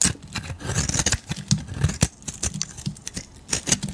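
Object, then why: Bar of soap scraped with a metal blade. A solid beige oval soap bar, palm-sized and held in a hand with long nails, is scraped with a metal utility blade. A quick series of short, crisp scraping strokes rasps out, bright and dry with almost no ring, over a steady low rumble.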